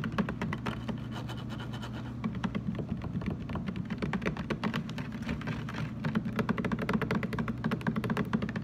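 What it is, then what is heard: Plastic water jug tapped. Fingertips tap rapidly on the sides of a large, hollow, blue translucent plastic water jug standing upright, with some light scratching mixed in. The taps give short, dull, hollow knocks with a low resonant body that dies away almost instantly. They run as a steady, uneven patter, pausing briefly near the two-second mark before picking up again.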